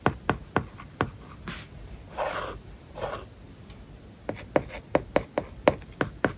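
A plastic-tipped stylus writes the word "application" on a flat iPad covered with a matte, paper-like plastic film. Quick, sharp ticks and taps alternate with brief, soft scratchy strokes across the surface. The sound stays quiet and dry, with a light midrange tone and almost no ring.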